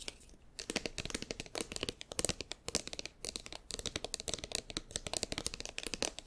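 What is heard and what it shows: A hand-sized, seemingly filled Cetaphil soft plastic squeeze tube is held in both hands and worked with fingertips and nails. Rapid, bright, crinkly taps and squeezing crackles follow one another closely. Each click is sharp and dies away almost instantly, with little low end.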